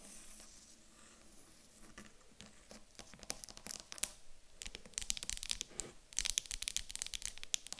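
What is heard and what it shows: A small, solid, light wooden cube, first held in the hands and then set on a table, is tapped and scratched with long acrylic nails. Quiet, irregular bright clicks and dry scratchy rasps start softly and grow louder and busier, each tap dying out almost instantly.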